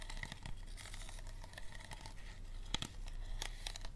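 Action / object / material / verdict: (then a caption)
scrape / thin plastic water bottle / plastic / none. Fingers squeeze, scratch and tap the ridged walls of an empty, hollow, clear thin plastic water bottle with a green cap. The result is steady, quiet crinkling and crackling, with a few sharper tapping clicks standing out near the end.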